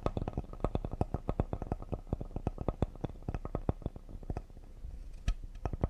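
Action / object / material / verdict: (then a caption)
tap / cedar wood serving board / cedar wood / none. Fingertips tap rapidly near the side edge of a solid cedar wood serving board. A fast, uneven run of dozens of short, dull, low taps, each with a faint bright click and almost no ring, sits over a soft background hush.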